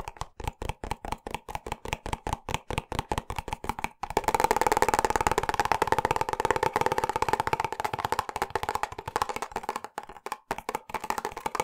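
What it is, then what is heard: Plastic squeeze tube. A medium silver-grey hollow plastic squeeze tube of hair product, fill level not visible, is held in one hand beside the microphone and tapped by the other hand's fingertips and nails. For about four seconds the taps come as distinct, evenly spaced hollow clicks. Then they speed into a rapid, dense patter with a brief pause near the end; each tap is short and dry with a mid-pitched plastic tone and little low end.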